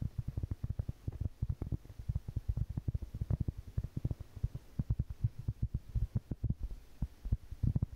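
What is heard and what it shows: Long painted fingernails tap and scratch a large round solid cork board held at its edge, making a rapid, steady stream of soft, dull taps. The taps are deep and muffled with almost no ring, sitting over a faint low hum.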